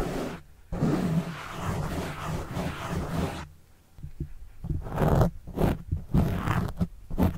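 Fingertips scratch a black foam windscreen on a microphone, then a plastic pen tip scratches the foam. A dense, low, rumbling scrape runs for about three seconds, then after a short quiet gives way to a series of shorter, choppy scratching strokes. The sound stays heavy and muffled in the low end with almost no bright content.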